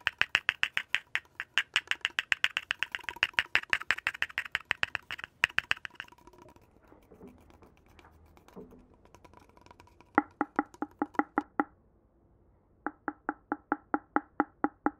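Fingertips and nails tap and knock along a long, hollow, empty red cardboard poster tube with gold trim and a cap at one end, held in the hands. Rapid, dry, clicky taps with a bright edge fill the first six seconds, followed by a few seconds of quiet handling. Two even runs of hollow, low-mid knocks with a short resonant tone finish the clip.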